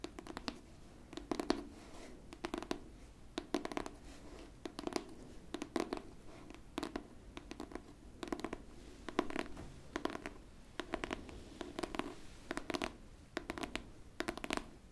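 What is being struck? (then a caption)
Hardcover book, cardboard cover. Long pink nails scratch the cover and edge of a solid pink hardcover book, producing quick, dry, scratchy rasps. The strokes come in short repeated bursts with brief pauses between them, bright and papery over a faint mid-range tone. The sound stays quiet and close throughout.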